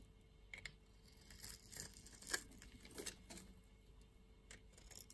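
A solid white bar of soap held in the palm is scraped and shaved into white flakes by a green utility-knife blade. Quiet, bright, crackling scrapes come in short irregular bursts over a faint steady hiss, with a few sharper strokes standing out.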